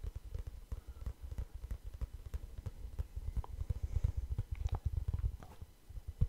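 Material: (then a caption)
Cardboard. A small, light, hollow kraft cardboard notebook with a string tie is held in both hands around the microphone and scratched and tapped with the fingertips. The result is a dense run of soft, dull low thumps with short scratchy ticks between them. The taps die away almost at once.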